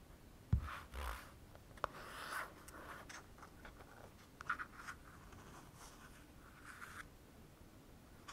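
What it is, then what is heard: Plastic cosmetic tube. A pink plastic cosmetic cream tube with a cap is held in the hands and scratched and tapped with fingernails. Quiet, papery scratching swells come and go, broken by a few sharp, dry taps with a soft low thump. The sound stays close and quiet throughout.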